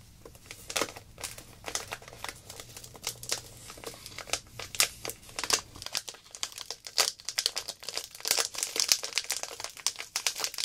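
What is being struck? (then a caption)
Plastic zip-lock bag filled with glitter. A small clear plastic zip-lock bag filled with silver glitter is held in both hands and squeezed by long black nails. The result is continuous bright, crisp crinkling, with sharp clicks and rustles that come in rapid irregular bursts.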